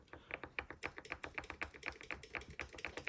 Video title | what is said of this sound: Mortice Matters: Picking the Union Strongbolt based on feedback | almost as high as I can and you can hear it tapping this is a lever height number one so it's a high lift lever